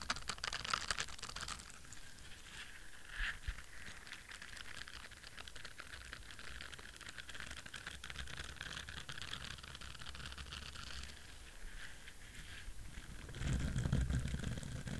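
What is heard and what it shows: Fingertips and nails scratch the bristles of a palm-sized, orange, flexible silicone bristle scrubber and tap its back. The result is a dense, rapid, irregular patter of soft, bright scratching and ticking over a low, muffled rumble. It ends with a louder, thumpier burst of tapping.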